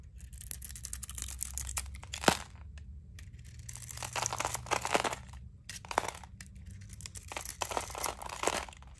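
A palm-sized solid bar of dry soap, painted purple and teal with glitter and star sequins and held in hand, is scraped by a utility knife blade that shaves off the painted surface layer to expose the blue soap underneath. Dense, dry, crunchy scraping and crackling fills the clip in bright bursts, with a sharp snap near the two-second mark as crunchy flakes fall away.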